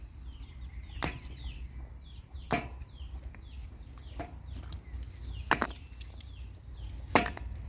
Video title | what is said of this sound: ถ่านอัดแท่ง : แค่วิธีการตากถ่านเรายังต้องเรียนรู้...อย่าเพิ่งเชื่อจกว่าจะได้ทดลอง | เคาะก็ไม่แตกนะครับแต่ว่ามันร้าว